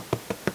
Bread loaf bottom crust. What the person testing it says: they have a nice crispy bottom